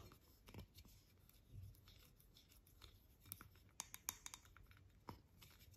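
Long nails tap and scratch a tall, hollow, white-painted aluminium thermal water spray can (Avène) held in the hand, along with its plastic cap. The sound is quiet and dry: soft scratching alternates with sharp, bright clicks that die away almost instantly, plus a few low thumps from the handling.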